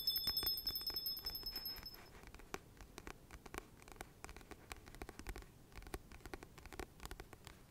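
Fingertips and nails tap and scratch the glossy paper cover of a solid, medium paperback book held in the hands. Quick, uneven, bright clicks and scratchy strokes follow one another throughout, with faint high steady tones in the first two seconds. The taps are loudest at the start and settle to a softer, steady patter.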